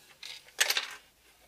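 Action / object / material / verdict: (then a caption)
shake / plastic toy water gun / plastic / loose. A new plastic toy water gun, which arrived with another part broken, is shaken, and something loose inside it rattles. Two bright, high-pitched bursts of clicking rattle are heard, the second louder, from a loose part that cannot be seen or identified, which is not normal.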